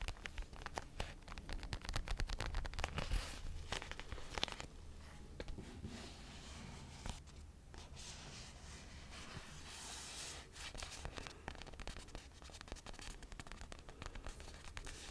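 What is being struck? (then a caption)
Stuffed vinyl toy punching bag. Fingertips and nails scratch the glossy vinyl faux-leather cover of a small, soft, stuffed red and blue children's punching bag held close to the microphone. The result is a quick, irregular run of dry scratching and crinkly rasps with a low rumble underneath. It is busier and more clustered in the first few seconds, then settles into a steadier scraping texture.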